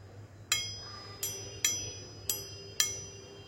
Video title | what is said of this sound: Makna / Filosofi Keris Kebo Lajer Atau Mahesa Lajer | Besinya bunyinya nyaring sekali. Tingnya besi itu nyaring.